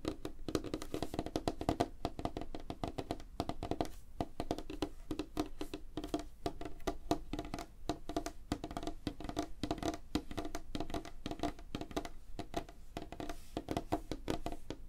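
Both hands tap rapidly with fingertips and short nails on a large, flat, solid light-wood tabletop. The result is a dense, continuous stream of short, dry wooden knocks with a hollow midrange tone around 690 Hz, a low thump underneath and very little high end. Each tap dies away almost instantly.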